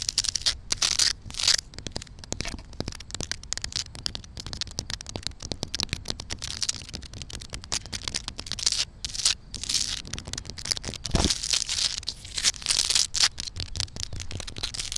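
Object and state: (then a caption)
Tree bark scratched by fingernails. Long black nails scratch and tap the rough, cracked bark of a large solid log lying on the ground. The result is a dense, bright, crackly scraping with quick dry taps scattered throughout, its energy mostly in the high range.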